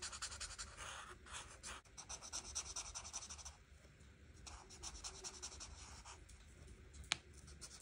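A felt-tip marker rubs across a flat paper coloring book page in quick, writing-like strokes to fill in the leaves. The strokes make a bright, dry scratching that is louder for the first few seconds, then turns softer and lighter. A single sharp tick sounds near the end.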